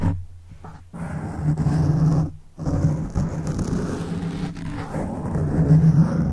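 Fingertips scratch and flick the side of a black foam microphone windscreen, making a dense, deep rumbling rustle with nearly all its energy low and a faint pitched tone underneath. The sound swells and briefly drops away twice near the start, then continues as steady close scratching that grows slightly louder toward the end.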